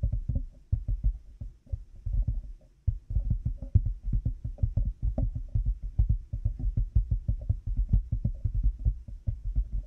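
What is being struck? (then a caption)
Plastic headphone headband with cat-ear pieces. Fingertips and nails of both hands tap rapidly on a black plastic headphone headband with cat-ear pieces resting on a binaural mic. The result is a dense, irregular stream of short, deep, muffled thuds with faint clicky tops and almost no ring, briefly pausing near the three-second mark before continuing steadily.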